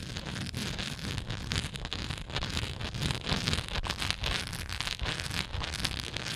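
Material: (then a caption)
Plastic. Long nails scratch the textured side of a hollow, translucent plastic Tums tablet bottle with tablets visible inside. A steady, dense, gritty rasp runs throughout, with bright scratchy texture over a low, rumbly undertone and small surges in loudness.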